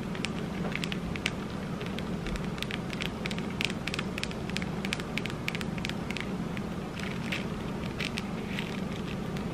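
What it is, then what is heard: Mirror-tile disco ball ornament. A small hand-held disco ball Christmas ornament, covered in little square mirror tiles with a hanging cap on top, is held in both hands and tapped and scratched with long red acrylic nails. Rapid, bright clicks and crackly ticks patter across the clip over a steady low hum and noise, at a fairly even level throughout.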